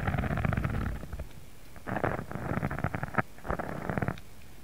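Fingertips scratch and rub across a thin pink embossed faux leather sheet lying flat. The result is a low, rumbly, textured scratching that comes in three bursts, with quieter gaps between them.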